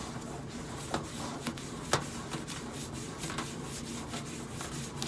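Long acrylic nails scratch back and forth across the flat stainless steel side panel of a hollow microwave, giving a continuous soft rubbing, rasping texture. A few sharper, bright clicks stand out above the scratching.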